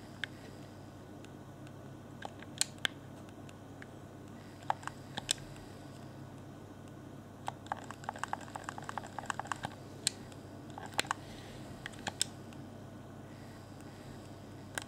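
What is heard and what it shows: A fingertip taps and clicks the face buttons and hollow, transparent plastic shell of a clear Xbox One Afterglow game controller. Sharp, dry, bright plastic clicks come in scattered ones and twos, then a quick flurry in the middle, over a quiet, steady low hum.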